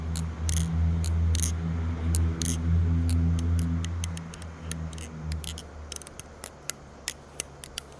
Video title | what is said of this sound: This is the most beautiful repicant I've ever flipped! (Arizona can knife????) | sounds very unique it sounds Hollow almost